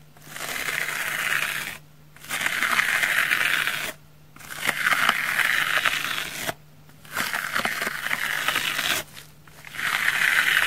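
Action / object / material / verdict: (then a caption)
scrape / foam sponge / foam / none. A pink knife's tip and edge scratch across the face of a large, solid, dry, pink porous foam sponge that already has small cuts in it. The result is five bursts of dense, bright, rasping scratching centred in the upper midrange, separated by short quiet pauses.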